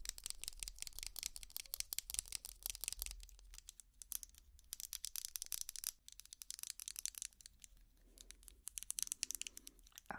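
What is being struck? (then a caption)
Ridged plastic tangle toy scratched with plastic picks. A small purple ridged plastic tangle toy held in the hands is scratched with long plastic finger picks. The result is a dense run of quick, bright, crackly scratches and clicks, with brief lulls before the scratching picks up again. There is a faint low hum underneath.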